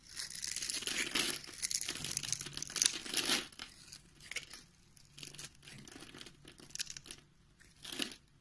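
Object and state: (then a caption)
Bar soap being cut. A metal utility knife blade scores a grid into a solid, hand-sized pink soap bar held in the palm and chips it into small cubes. Bright, crisp scraping and crunchy cutting sounds come in dense bursts for the first few seconds. Quieter, scattered scrapes follow, with one last louder cut near the end.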